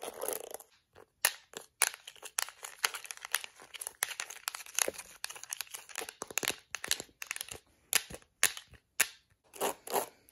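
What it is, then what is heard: Plastic hairbrush. Long acrylic nails tap the yellow rim of a yellow-and-black plastic detangling hairbrush and scratch across its plastic bristles. The result is a dense run of sharp, dry plastic clicks and crackly scratching, bright with almost no low end. Each sound stops instantly, with short quiet gaps between the bursts.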